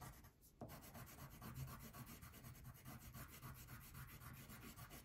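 A blue wax crayon is rubbed back and forth across the background near the top edge of a thin paper coloring page lying flat on a table. The result is a steady, quiet, scratchy rubbing made of rapid repeated strokes, with a soft low rumble underneath and a faint bright grain on top. After a brief lull at the start, the strokes continue evenly to the end.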